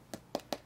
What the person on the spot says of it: you can hear what that sounds like when I flick it versus rubber or foam um this is really hard plastic